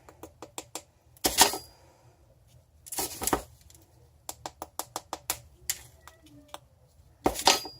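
Tapping on a mold holding a pressed soap-dough bubble wand gives a series of short, sharp, hollow taps, with a few broader scraping or handling noises between them. The hollow sound shows the wand has come loose from the mold on that side.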